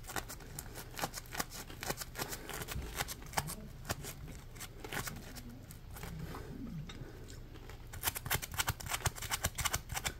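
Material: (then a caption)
Polymer foam. Fingertips flick and scratch the ridges of a palm-sized, solid, yellow ridged polymer foam Scrub Daddy sponge. Rapid, dry, bright scratchy clicks sound over a low steady hum, easing into softer rubbing in the middle before the quick flicking picks up again at the end.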